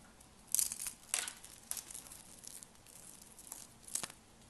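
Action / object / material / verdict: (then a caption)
scrape / soap flakes / soap / none. Fingertips with lavender nails crumble and crunch thin, brittle pastel dry soap shavings over a heap of soap flakes. Several short, dry bursts of bright crackling and crinkling rise from a faint hiss, carrying almost no low end.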